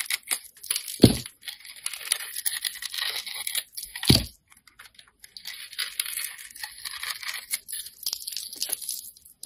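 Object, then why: Glitter-coated soap bar. A metal utility-knife blade scrapes and carves the purple glitter coating and white soap from a solid bar held in the hand. It makes a crisp, crunchy, bright scraping with short pauses, and two louder, deeper cuts stand out near the start and middle.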